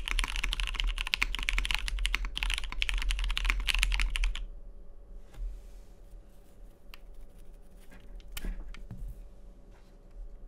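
Fingertips type rapidly on a Matrix 2.0 OG tenkeyless mechanical keyboard with a cyan anodized aluminium case, lubed vintage MX Brown switches and cream plastic keycaps, resting on a deskmat. A dense run of bright, crisp key clacks over a low thump lasts about four seconds, then thins to a few sparse, quieter keystrokes.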